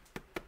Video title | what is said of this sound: Single Loaf Bread Recipe Kitchenaid Stand Mixer | it got a nice little thud to it that's how you know it's done